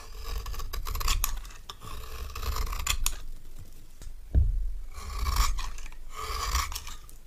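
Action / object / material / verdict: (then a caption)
scrape / bar of soap scraped with a metal knife / soap / none. A palm-sized, solid orange stamped bar of soap, held in one hand, has its face scraped and shaved into crumbly curls by a metal knife. Continuous rasping scrapes come in strokes, with a soft low thud partway through and dry, crumbly grit along the blade's drag.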